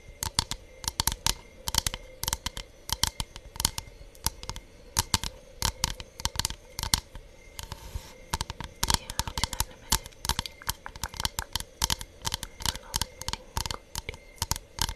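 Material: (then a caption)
Bamboo. Long nails tap and scratch across a thin, solid hexagonal bamboo board with an engraved honeycomb pattern, held in both hands. Quick, dry, bright clicks come in irregular rapid bursts with almost no ring, broken by a brief scratchy rasp just before the eight-second mark.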